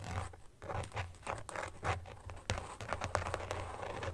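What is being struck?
Carbon-pattern phone case.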